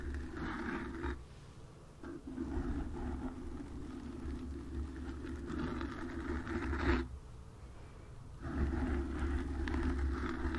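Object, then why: Foam microphone windscreen. Long acrylic nails on both hands scratch and lightly tap across the soft, porous black foam ball windscreen of a desk USB microphone. The result is a dense, close, muffled scratching and rustling with a heavy low rumble and a steady tone around 266 Hz. It drops quieter in brief lulls near 1–2 seconds and 7–8.5 seconds, then resumes.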